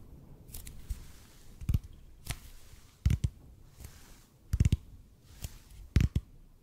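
A large, hollow, red-and-white EPP bead foam roller is held close to the microphone and tapped and scratched with the fingertips. Dull, low thumps come in slow, uneven clusters, often as quick doubles, with soft, bright scratchy rustles between them. Each tap dies away almost instantly.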